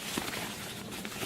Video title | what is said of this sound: 고어텍스 2레이어 vs 2.5레이어 vs 3레이어 간단비교(goretex 2layer vs 2.5layer vs 3layer) | 3레이어는 뻑뻑합니다. 소리부터 바삭바삭 소리 들리죠.